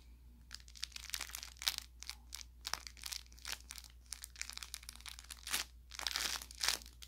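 An orange velour plush carrot toy, soft-stuffed with crinkle filling, is squeezed around its middle seam by a thumb and fingertips. Each squeeze gives a burst of bright, papery crinkling and crackling that stops almost at once, over a faint steady low hum.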